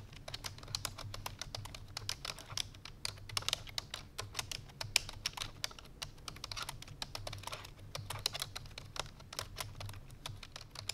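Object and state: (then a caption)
Plastic computer keyboard. Fingertips with long painted nails rapidly press the keys of a full-size black plastic computer keyboard resting on a white fur rug. A fast, steady stream of short, bright, clicky taps plays over a faint low steady hum, with each tap stopping dead without ringing.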